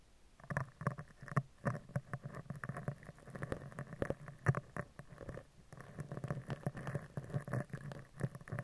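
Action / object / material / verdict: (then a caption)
scrape / steel mesh microphone grille rubbed with a bristle brush / steel mesh / none. A spoolie brush with a clear handle is rubbed over the upper left, then the upper right edge of a steel mesh microphone grille. Close, soft scratchy scrubbing comes in dense bursts, with a low, muffled body and quick brushing strokes that fade almost at once.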